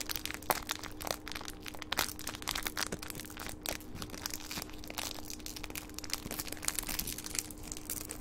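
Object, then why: Small metallic foil wrapper. A small gold metallic foil wrapper is unfolded and scrunched between the fingertips of both hands. It makes a dense run of bright, crisp crinkling and crushing crackles with sharp snaps, over a faint steady low hum.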